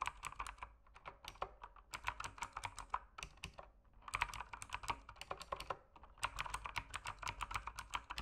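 Fingertips type on an RGB mechanical keyboard with plastic keycaps, producing rapid runs of crisp, short clacks. Each keystroke is a dry, mid-toned tap with a bright, high click and almost no ring. The typing comes in three bursts separated by brief pauses.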